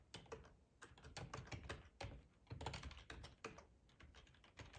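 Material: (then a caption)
Plastic. Fingertips of both hands type on a hollow black plastic split ergonomic keyboard, tapping the keycaps. Quick, uneven clicks come in bursts and short pauses. Each tap has a soft, low, hollow thud and a brief bright click that dies away almost at once.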